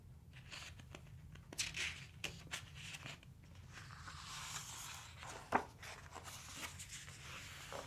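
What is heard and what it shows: Fingertips and a palm rub across the glossy paper pages of a large open hardcover dinosaur book lying on a wooden table, and then a page is turned. The sound is a quiet, bright, papery swishing with a low steady hum underneath and a few sharper crinkles. One crisp, louder paper snap stands out late in the clip before the soft rubbing resumes.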